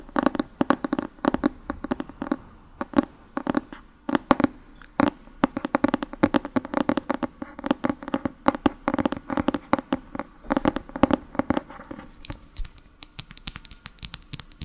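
Fingertips tap and scratch the front cover and spine of a solid Harry Potter paperback book with an orange paper cover. Many rapid, dry taps with almost no ring mix with soft scratching, and the tone sits in a papery mid-range.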